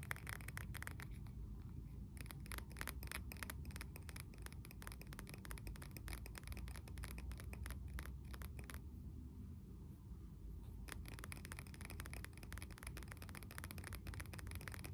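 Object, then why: Glass candle jar filled with wax. Short fingernails and fingertips scratch and tap the outer glass sides of a medium blue glass candle jar with a dark lid, held in both hands and filled with candle wax. A dense, quiet stream of rapid, bright clicks and scratches runs over a low, rumbling bed, thinning briefly near the middle before picking back up.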